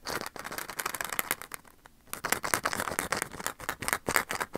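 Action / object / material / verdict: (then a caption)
tap / small plastic Easter egg / plastic / none. A small blue and red hollow plastic Easter egg, held between the fingers close to the microphone, is tapped and scratched with the fingertips. Rapid, bright, hollow plastic clicks and scratchy rustling fill the clip, pausing briefly just before the two-second mark before resuming.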